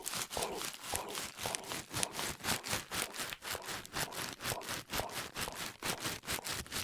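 A fist-sized, hollow, loosely packed ball of crumpled white paper is held in both hands beside the head and squeezed and crinkled with the fingers. It makes a steady run of bright, crisp crackling bursts, roughly two per second, with little low end. Each crackle stops almost at once.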